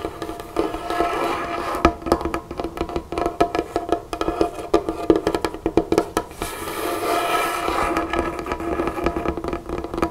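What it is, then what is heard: Wooden table top. Both hands drum and tap on a large, solid, dark-stained wooden tabletop with long natural fingernails and fingertips, one finger wearing a flower ring. A steady stream of quick, dry, short-ringing knocks and clicks with a woody mid-range tone, some taps sharper and louder than others.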